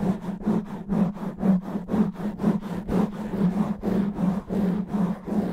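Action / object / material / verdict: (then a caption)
scrape / foam microphone windscreen / foam / none. Natural fingernails of both hands rapidly and roughly scratch and rub a black foam microphone windscreen. Dense, scratchy rubbing strokes surge about twice a second over a steady low hum near 190 Hz, with bright hiss riding on each stroke.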